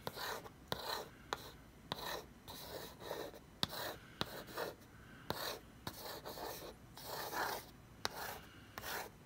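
Fingertips and long red nails rub and scratch across the printed lid of a closed, hollow corrugated cardboard BarkBox shipping box lying flat. Soft, breathy rubbing swishes rise and fall, broken by sharp, dry nail ticks that cut off almost instantly.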